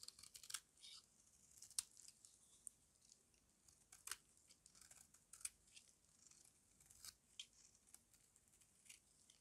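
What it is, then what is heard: Dry soap bar shaved with a blade. A small metal blade shaves and scrapes the edge of a solid oval bar of dry white soap held in the hand. Quiet, bright, crisp crunching and scraping bursts come in quick, uneven succession, each dying away almost instantly with hardly any low end.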